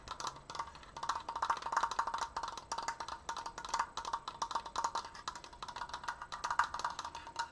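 Fast, continuous tapping on a wooden Triforce decoration produces a steady stream of short, dry, hollow knocks centered around 1.2 kHz. Each tap dies away almost instantly, with little low end and a touch of bright click on top.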